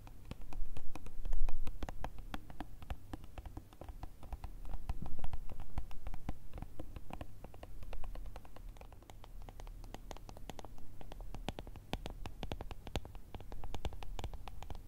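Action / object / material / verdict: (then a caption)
tap / plastic jar filled with gel beads / plastic / none. Long nails tap quickly and irregularly on the sides and lid of a small, ribbed, clear plastic jar with a label on top, full of gel beads. The result is a dense run of short, crisp plastic clicks that swell louder in a few bursts, over a steady low hum.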